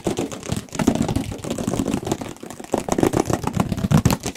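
A black printed cardboard retail box for a Radeon RX 570 graphics card, about 30 cm long and likely hollow with contents inside, is held in the hands and tapped quickly with the fingertips and nails in front of two microphones. The result is a fast, continuous flurry of dull, hollow thuds with a low, boomy body and very little high end, each tap dying away almost instantly.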